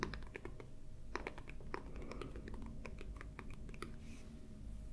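Fingertips and nails of both hands tap and scratch across the glossy paper cover of a large paperback Game of Thrones coloring book lying closed and flat on a white table. Quick, dry, crisp taps and brief scratches follow one another in a rapid, irregular patter over a steady low hum. Each tap dies away almost instantly.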